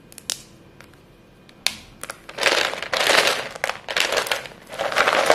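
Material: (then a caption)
Chalk. A heap of short, solid white chalk stick pieces in a clear bowl is squeezed, crushed and rubbed by two chalk-dusted hands with short painted nails. A few sharp, isolated snaps at first give way to longer bursts of dense, bright, gritty crunching. The chalk crumbles apart under the pressure.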